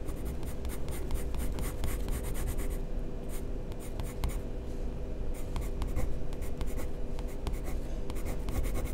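A black wooden pencil, held by a hand with long painted nails, rubs and scratches its tip across white drawing paper in a sketchbook lying flat on a table, shading feather strokes. Continuous dry scratching is punctuated by short, bright stroke sounds over a steady low hum, with a quieter stretch of lighter strokes in the middle.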